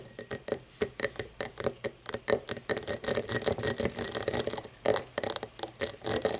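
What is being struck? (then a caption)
Cut glass tumbler. Long nails tap and scratch the faceted side of an empty, hollow cut-crystal tumbler lying on its side on a wooden table. A quick, uneven run of bright glassy clicks with a high ringing tone, each dying away almost at once, grows denser into a scratchy patter that stays bright and high throughout.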